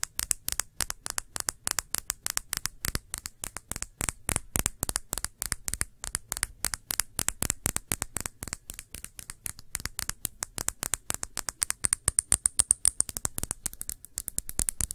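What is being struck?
Small glass shot glass.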